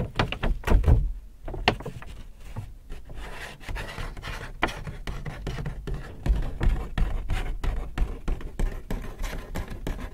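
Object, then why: Paper shopping bag. Fingers rub and crinkle an empty white Hudson's Bay paper shopping bag up close. Dense, dry paper crackles and rustles come with soft, heavy low thumps. The bursts come in quick uneven clusters, with a louder flurry near the start.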